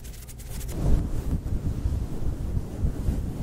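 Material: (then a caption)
Faux fur. Both hands scratch and rub a roughly fist-sized, soft, yielding pink fluffy synthetic faux fur cover over a foam windscreen on a Blue Yeti microphone, using fingertips and short nails. It opens with faint, bright finger flutters before contact, then breaks into a dense, muffled, low rumbling scratch that stays heavy in the bass for the rest of the clip.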